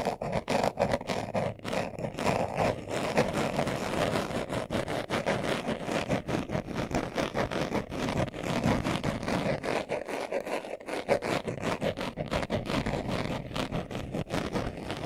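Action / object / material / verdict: scrape / leather-covered glasses case / leather / none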